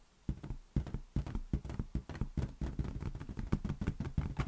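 A large inflated green latex balloon, hollow and air-filled, is held in one hand and tapped with the fingertips. A quick, uneven run of soft, dull thumps is heard, low and boomy at about 150 Hz. Each tap dies away almost at once.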